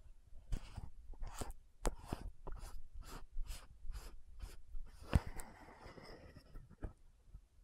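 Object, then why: Plastic lotion bottle with cap. Long nails tap and scratch the gold cap and neck of a frosted plastic lotion bottle. A steady run of soft, rhythmic scratching strokes is broken by a few sharper clicking taps. The sound stays quiet and dry, with no ringing.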